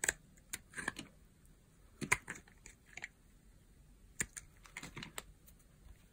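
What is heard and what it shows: A solid, translucent yellow bar of dry soap is held in the hand while a metal knife blade shaves thin slices and flakes from its surface. The scraping cuts come as short, dry, crunchy clicks in uneven bursts, bright and crisp with very little ring.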